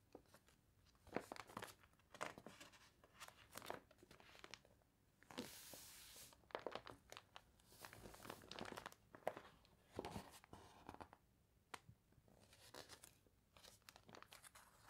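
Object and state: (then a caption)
Water-wrinkled glossy paper catalog. Long nails scratch the glossy, water-wrinkled paper pages of a toy catalog, scraping across the sticker page before the page is turned. Quiet, dense crinkling and crunching fill the clip with frequent short, bright scratches and rustles, plus one broader hiss of paper noise near the middle.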